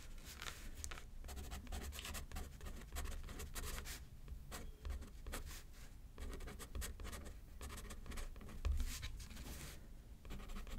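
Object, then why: Metal pen nib on a paper card over a pad. A metal pen scratches across a thin paper card lying flat on a paper pad while writing, producing a steady stream of short, dry scratching strokes with bright, hissy bursts. A constant low rumble sits underneath, and the strokes come in uneven clusters with brief pauses between words.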